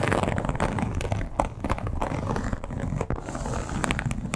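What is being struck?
Embossed leather clutch.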